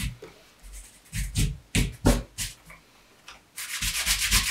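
A dark brown pebbled leather Allen Edmonds MacNeil wingtip shoe (Brooks Brothers), with a shoe tree inside and held in one hand, has its upper rubbed and polished with the bare palm and fingers of the other hand. Brief bursts of dry, bright swishing friction with soft low thumps give way to a steadier, continuous rubbing at the end.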